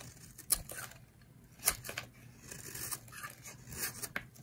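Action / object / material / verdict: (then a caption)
scrape / bar of soap cut with a knife blade / soap / none. A solid rectangular green bar of dry soap is held in the hand and carved with a utility knife blade, shaving off curls. Quiet, crisp scraping and cutting strokes come at an uneven pace, with a few sharper bright snaps standing out between softer dry shaving sounds.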